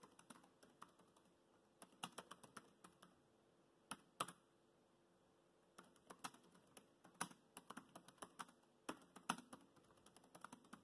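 Fingertips type on the black plastic chiclet keys of a dark grey laptop keyboard, making quiet, short, dry clicks with little low end. The keystrokes come in uneven bursts, with pauses around 3 to 4 seconds and 4.5 to 5.7 seconds.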